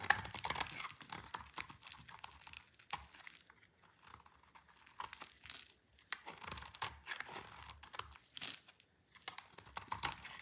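A solid, dry green soap bar is scraped and shaved with a utility knife, held in a hand with long purple nails. Dry, crisp scraping and crumbling crunches come in uneven bursts with brief quiet gaps, bright and papery with almost no low end.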